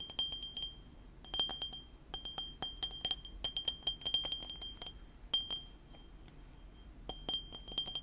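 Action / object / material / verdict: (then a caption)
tap / small ceramic mug / ceramic / none. A small white ceramic mug with Panda Kopanda cartoon prints, hollow with its contents not visible, is held beside the microphone and tapped with medium-length painted fingernails. It gives rapid bursts of short, bright clinks with a high glassy ring near 3 kHz. The clinks come in quick clusters separated by brief pauses, and each ring fades almost at once.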